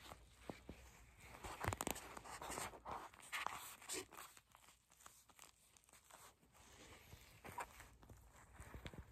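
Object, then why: Gel bead eye mask, soft clear plastic. A small, flexible, clear purple plastic eye mask filled with gel beads is held in both hands and squeezed, bent and scratched with long acrylic nails. The result is quiet, crinkly plastic rustling with soft bead shifting and many sharp, bright scratches and taps.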